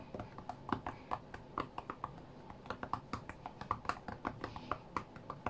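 Fingertips from both hands tap rapidly on the glass touchscreen of a white iPad lying flat on a mat. About thirty short, dry, clicky taps come in a quick, uneven rhythm, each fading almost instantly, with a soft knock near 1 kHz and a brief bright edge. A low, steady background hum sits underneath.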